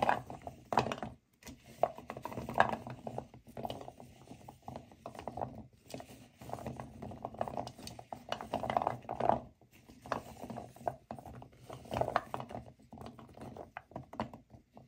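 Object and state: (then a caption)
Pile of dry cork wine stoppers. Hands with long nails scoop and rub a heap of dry, solid natural cork wine stoppers in a white bowl, so the corks knock against each other. The result is a quiet, dense rattle of short, dry, woody clicks centered in the midrange, coming in bursts with brief pauses between scoops.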